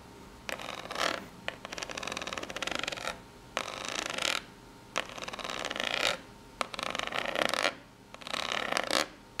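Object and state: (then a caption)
Corrugated cardboard box. Long pink nails scratch across the ridges of a small corrugated cardboard box in repeated strokes separated by short pauses. Each stroke is a bright, dry, rasping scrape with a fine rapid ticking texture as the nails catch on the ridges.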